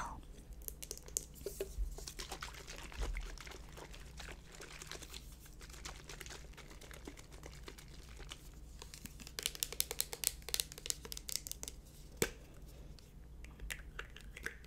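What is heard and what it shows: A small hollow plastic spray bottle of brightening mist with a pump top, held in the hands, is tapped and scratched with long blue nails. Close, dense clicks and crinkly scratching run throughout over a steady low hum, with a burst of sharper, louder taps around the middle and a few isolated hits near the end.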